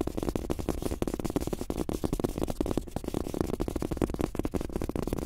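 Bare fingertips of both hands tap quickly on a large, flat, thin black desk mouse pad printed with a world map, with a cloth surface on a rubber base. The result is a rapid, steady stream of soft, dull, muffled thuds that stop dead with no ring and have almost no high-frequency content.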